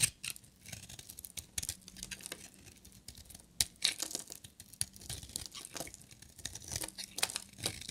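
A solid, hand-sized, purple and white striped glittery bar of dry soap is held in the hand and shaved with a metal utility knife blade, with shavings curling off. Crisp, dry scraping and crackling strokes come in quick bursts, bright and mostly high-pitched with very little low end. Each scrape stops short with almost no ring.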